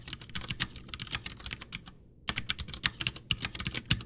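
Both hands type with their fingertips on a full-size white plastic Ducky One 2 mechanical keyboard with Cherry MX Brown switches, backlit, with a hollow case resting on a desk. Quick, bright, clacky keystrokes with a low hollow thud beneath them run in a steady stream, broken by a short silence near the middle before the typing resumes.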